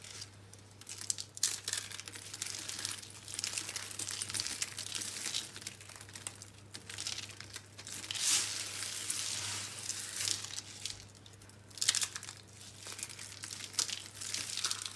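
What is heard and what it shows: A handful of solid green dry soap rolls is pressed into a pile of soap crumbs while palms and fingers crush and knead them. The result is a steady stream of dry, bright crunching and crinkling crackles, swelling into louder bursts at times. A faint low hum runs underneath.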